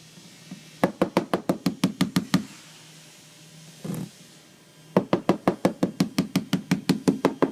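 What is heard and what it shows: Rapid knocking on a gel-coated fiberglass boat deck is heard as two bursts of short, hollow taps with a dull low-mid body and very little ring. A brief scraping sound falls between the bursts. The tapping locates a hollow void in the deck, which is outlined in pencil so its size is known.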